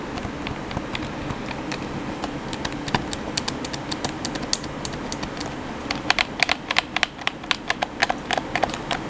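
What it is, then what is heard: Plastic game controller. Fingertips and thumbs quickly tap the face buttons of a hollow black plastic PS4 controller, making rapid, dry, bright clicks with almost no ring. The taps start soft over a steady low background hiss and grow louder and more distinct in the last few seconds.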